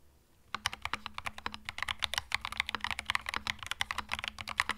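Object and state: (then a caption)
Mechanical keyboard with plastic keycaps. Fingertips type on a compact cream mechanical keyboard with plastic keycaps. After half a second of near silence, a quick, steady run of bright, sharp clacks follows, each dying away almost instantly over a faint low hum.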